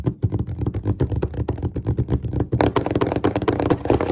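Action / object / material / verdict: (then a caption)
tap / wooden desk top / wood / none. Fingertips and nails of both hands tap quickly and rhythmically on a large, solid, flat, dark-stained wooden desk top. The taps are short, dull and low-pitched, and they become brighter and clickier over the last half of the clip.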